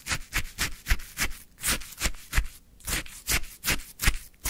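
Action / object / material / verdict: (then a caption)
scrape / frozen shaved ice in a plastic cup, wooden stick / ice / none. A wooden stick scrapes into a full plastic cup of orange frozen shaved ice and lifts it out, giving a steady run of short, crunchy, bright scraping strokes. Each stroke has a soft low thump beneath it, with brief pauses in between.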